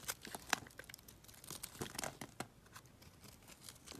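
A box-cutter blade slices and scrapes a solid yellow bar of soap into thin strips, making quick dry crackling, crisp crunches, and papery scratches. The clicks are sharp, bright, and close-up, with a steady hiss of fine shavings between them.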